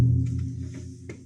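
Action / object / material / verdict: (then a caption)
strike / floor cover over an underground chamber / unknown / hollow. A cover over an underground chamber beneath a house floor, an unused storm drain 14 feet deep holding 6 feet of water, is struck once. It gives a deep, booming hollow tone around 121 Hz that fades slowly over about a second. The chamber sounds hollow.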